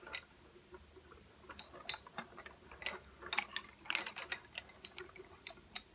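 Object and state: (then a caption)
Wooden coloured pencils. Fingertips tap on a row of slim, solid, painted wooden coloured pencils lying flat on a white table. The result is a quiet, irregular series of short, bright, dry clicks that are mostly high-pitched, with almost no low end. Each click dies away almost at once.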